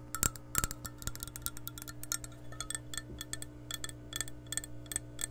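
Long nails tap and scratch the outer wall of an empty, hollow, clear glass measuring cup held close to the mic. Quick, bright clicks with very short ring come in uneven clusters over a steady low hum.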